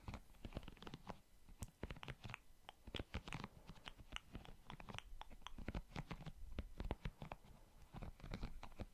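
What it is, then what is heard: Silicone scalp massager brush. Fingertips scratch and rub across the soft silicone bristles of a small handheld pink plastic scalp massager brush held near the microphone. The result is a quiet, steady stream of short, dry crackling and crunchy scratches with a bassy low end and faint bright edges.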